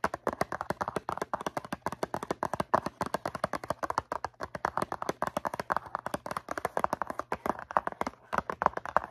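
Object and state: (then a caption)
Cardboard cotton swab box. Long nails rapidly tap the faces of a medium-size, hollow blue cardboard Q-tips cotton swab box filled with swabs. The sound is a dense, irregular stream of short, dry midrange clicks that stop almost instantly with no ring. A faint, steady low hum runs underneath.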